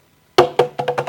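A reusable bathroom soap dispenser made of strong plastic but looking like glass or ceramic is deliberately dropped to show it will not break. It gives six hollow, wood-block-like knocks, the first loudest, with the later ones quicker and softer. The dispenser survives intact, confirming it is plastic rather than glass or ceramic.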